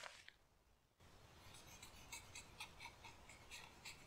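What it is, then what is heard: Charcoal scratching on drawing paper. A hand holding a pale charcoal pencil or blending stump scratches and strokes white drawing paper on a wooden easel in a garden, drawing a leaf outline. Two short, bright scratches are followed by a quiet pause. A steady low background rumble then comes in under a quick series of bright, dry, scratchy strokes.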